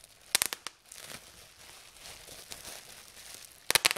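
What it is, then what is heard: Plastic bubble wrap being popped. Fingers pinch a fold lifted from a sheet of clear plastic bubble wrap, popping its air bubbles in two quick bursts of sharp, bright snaps. The first burst comes near the start and the second at the end, with soft crinkling of the plastic in between.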